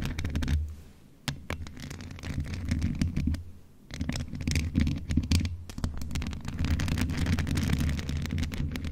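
A grey, hollow metal USB condenser desktop microphone with a mesh grille is scratched and tapped with the long nails of both hands. The result is dense, crackly scratching over a deep, boomy low rumble, broken by sharp taps and two brief quieter pauses.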